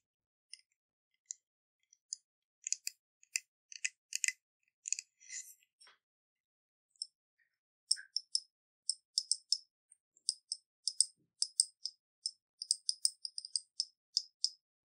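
Long painted nails tap and scratch the silicone sleeve of a medium pink water bottle with a bamboo lid, likely holding water, held in both hands. The clip is a quiet series of about 37 crisp, bright, dry clicks and scratchy brushes with almost no ring and no low end. It starts with scattered taps, pauses briefly around 6–7 seconds, then continues with a denser, steadier run of clicks.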